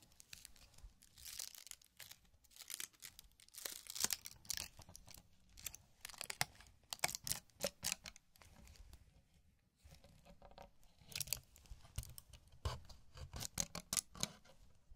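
Fingertips open and rustle a small printed paper cocktail umbrella on a thin stick above a sand tray. Its crinkly paper canopy gives bursts of bright, dry crinkling and tearing-like rustles with very little low end and no ring. The bursts come in uneven clusters with brief quiet gaps.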